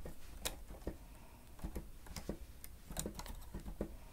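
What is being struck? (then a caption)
Plastic stenotype machine keys. Keys on a grey plastic stenotype machine with a screen are pressed rapidly with the fingertips and nails of both hands. About nine short, dry clicks and taps come through, each with a bright, crisp edge over a low, quiet background.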